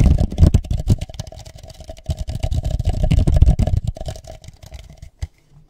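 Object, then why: Plastic party cup. A hollow red plastic party cup is turned upside down over a microphone and tapped rapidly and unevenly with the fingertips, producing a dense run of dull, boomy, low thuds with a faint hollow resonance. The tapping thins out, a final soft thump sounds as the cup is lifted off, and the clip ends in near silence.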